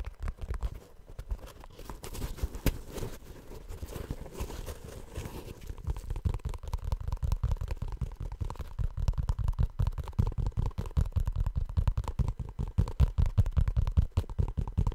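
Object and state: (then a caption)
Rubber shoe tapped. Fingertips tap the toe area of a hollow, empty blue molded rubber or plastic shoe held close to the mic. The result is a rapid, irregular stream of short, dull, low thuds with almost no bright content. The tapping grows louder and denser after about six seconds.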